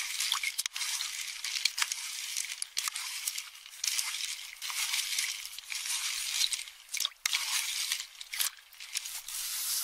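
A metal spoon grinds and scrapes through a small metal bowl of empty, partly crushed pistachio shells. The result is a dense, bright crackling and crunching with sharp clicks and brief pauses, and almost no low end.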